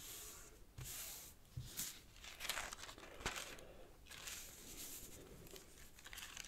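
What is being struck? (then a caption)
Thin origami paper sheet. A thin square sheet of purple origami paper lies on a black cloth table as fingertips press, fold and rub creases into it. Soft, bright crinkling and rustling comes in uneven bursts, with a few sharper crisp snaps of the paper between quieter brushing.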